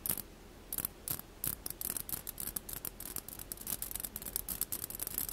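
A mesh skimmer ladle is rapidly tapped and scratched, giving a dense series of short, bright, ratchet-like rasps over the mesh. Each burst is dry and dies away almost at once, with much of its energy up in a high, hissy band.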